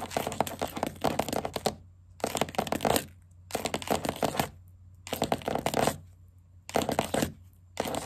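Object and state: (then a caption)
Wooden tabletop tapped with nails. Green plastic witch-finger caps on one hand and long black acrylic nails on the other tap and scurry across the edge of a solid wooden tabletop, close up. Rapid clicky, scratchy bursts with a mid-range clatter and bright edges arrive in repeated runs. Short quiet pauses fall between them.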